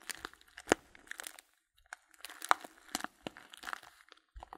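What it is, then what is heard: Paper tea bag, crinkled. A small filled paper tea bag (Blutorange) is held upright in both hands while fingertips squeeze and crinkle the paper. This makes quiet, irregular bursts of crisp, dry crackling with bright, high rustle and sharp little snaps, broken by brief silent pauses. Each crackle dies away almost instantly.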